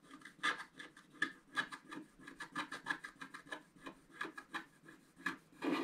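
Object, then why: Scratch-art card with black coating scraped by a wooden stylus. A wooden stylus scratches fine strokes into a flat sheet of scratch-art paper, its black coating laid over a colored foil layer, held flat on a table. A quick series of short, dry scraping strokes rasps through the coating, each with a faint tonal squeak near 1.7 kHz. The strokes end in a longer, rougher scrape.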